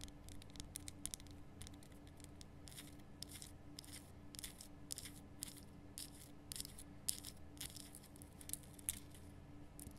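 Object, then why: Rock salt lamp. Long nails tap and click on the rough surface of a large, lit pink Himalayan rock salt lamp made of solid salt, held cupped in both hands. Many quick, sharp, bright clicks and light scratchy taps come in irregular bursts. A steady low hum runs quietly underneath throughout.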